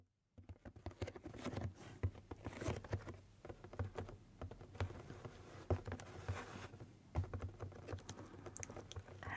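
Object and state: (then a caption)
Cardboard box. Long painted nails tap and scratch across the taped top and front edge of a medium, closed, hollow corrugated cardboard shipping box. After a brief silence, a quiet, rapid run of dry, dead taps sets in, each with a low, hollow body thump. Scratchy rustling fills the gaps between them, and the tapping continues unevenly to the end.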